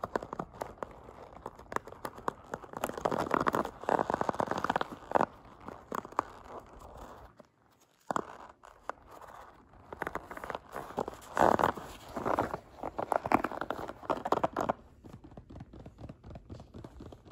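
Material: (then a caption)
Rubber. A palm-sized pink soft rubber spiky massage ball is squeezed, rubbed and scratched across its spikes by fingers. The result is dense bursts of soft crinkly, crunchy scratching focused in the midrange, with a near-silent gap around the eighth second before the texture returns.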